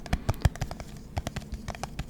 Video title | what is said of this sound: Satisfying Lid Sounds ASMR Tingle, Relax, Sleep, Study, Enjoy | That's a green lid on top of a glass jar. That was interesting.